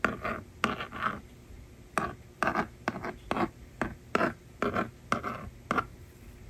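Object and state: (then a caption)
Plastic magnetic drawing board. A yellow plastic stylus, held by long-nailed fingers, scratches numbers onto the screen of a small hollow plastic toy magnetic drawing board resting on a table. Short, dry scratchy strokes come in quick bursts separated by brief pauses, centred in the upper mids with little low end and no ring.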